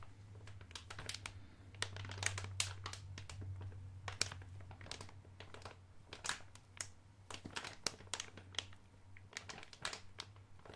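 A blue soft plastic Electronic Wipes pouch, filled with wipes, is crinkled and pressed with the fingertips and thumb. Dense, crisp, bright crinkles and crackles come in quick bursts throughout. A steady low hum runs underneath.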